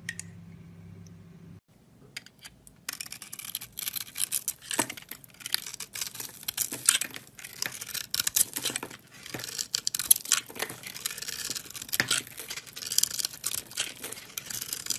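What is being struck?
Bar of soap.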